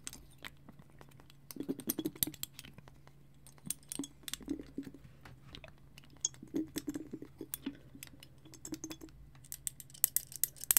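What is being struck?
Small frosted glass bottle with twine.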